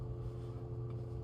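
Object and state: Nothing is struck.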